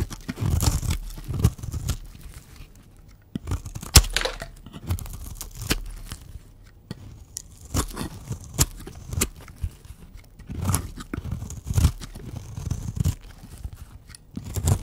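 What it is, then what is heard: Dry bar soap. A blue oval bar of dry soap is held in the hand and scraped with a utility knife blade. Dry, crunchy scraping and crumbling bursts come in uneven clusters, heavy in low rumble with brief bright crackles and sharp clicks.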